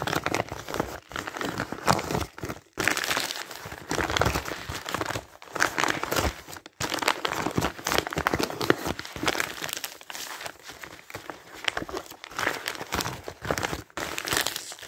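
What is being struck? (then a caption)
Thin printed paper flyer. Hands grab, tear and crumple torn pieces of a thin printed paper advertising flyer from a pile. The result is a dense, continuous crinkling and ripping with bright, crackly texture, broken by a few brief pauses between bursts.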